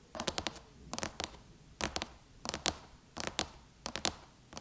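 Long chrome-painted nails tap on the silver aluminum lid of a MacBook laptop, close up. The sound is a series of short, bright clicking taps in quick clusters of two to four, with brief pauses between clusters. Each tap dies away almost instantly.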